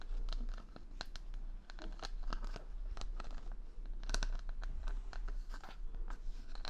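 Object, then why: Wooden pin bristles of a hair brush. Fingers brush and scratch the wooden pin bristles of a wooden paddle hair brush with a cushion pad, held close to the mic. The result is a dense run of dry, crackly scratches and sharp bright clicks over a steady low rumble.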